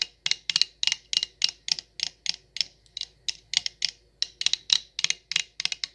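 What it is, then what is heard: Stemless wine glass tapped with nails. An empty, hollow stemless wine glass with a printed logo label is tapped with long acrylic nails. About 23 quick, bright clicking taps come in irregular bursts, each with a thin glassy tone near 3.9 kHz that fades almost instantly and no low end.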